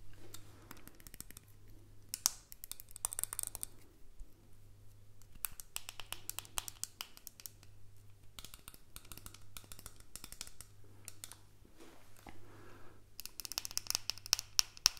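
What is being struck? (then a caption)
Small plastic earbud case. A small, hollow white plastic earbud case is held close to the mic and lightly tapped and scratched with fingertips and nails. Bursts of quick, bright clicks and dry scratching come in clusters, separated by quieter stretches. A steady low hum runs underneath throughout.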